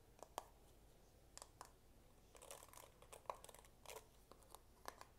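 Fingertips and nails tap and scratch the dense bristles and the back of the head of a medium-size paddle hairbrush with a dark plastic, likely hollow-backed head, held up in one hand. The result is a quiet series of short, dry clicks and brief scratchy, crinkling bursts centered around 1 kHz, each dying away almost instantly.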